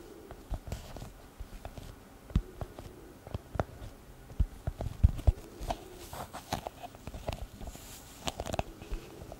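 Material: Leather.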